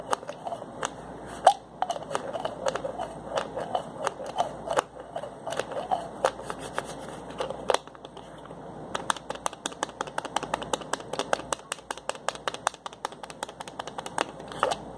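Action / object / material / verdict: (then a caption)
scrape / small plastic pill bottle with twist cap / plastic / none. Fingertips twist and click the cap of a small white plastic pill bottle, producing a steady stream of sharp, dry plastic clicks and ticks over a soft crinkly rasp centered in the midrange. The clicking briefly quiets around the middle, then resumes faster and more densely with crisp bright transients that die away almost instantly.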